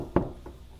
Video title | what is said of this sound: Find Studs Fast: Tape Measure vs Magnet vs Stud Finder | That sounds solid.